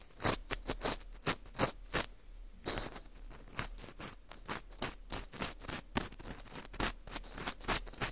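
A porous dried wheat gluten ring (fu), held in gloved hands, is scraped around its hole with an orange plastic earpick. Dry, bright scratching strokes come in quick bursts, with a brief quieter pause near the two-second mark before the scraping resumes, softer and more continuous.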